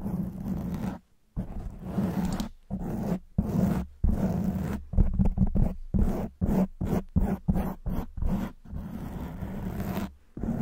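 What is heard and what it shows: A black foam windscreen on a silver microphone is scratched from both sides with long white nail tips. It makes dense, rumbling, low-heavy scraping strokes that come in bursts with brief silent gaps between them.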